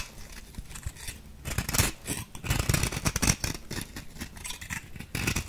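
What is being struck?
Compressed powder bath bomb.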